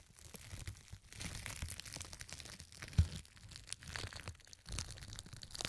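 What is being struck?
Crumpled plastic film.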